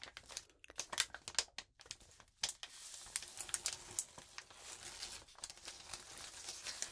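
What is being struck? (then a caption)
Crumpled notebook paper sheet. A crumpled sheet of notebook paper is rubbed and crinkled under both hands with long nails. Sharp, separate crackles in the first couple of seconds give way to a steady, dense, bright rustling, with almost no low end and quick, dry snaps that die away at once.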